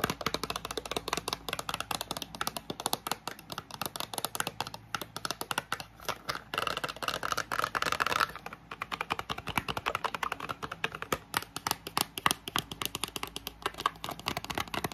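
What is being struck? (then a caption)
Small printed cardboard box. Long nails tap quickly and scratch across the sides and edges of a small, hollow, green and white printed paperboard product box. The result is a dense, continuous stream of short, dry, bright clicks with no ringing, mixed with scratchy rasps and a faint steady hiss underneath.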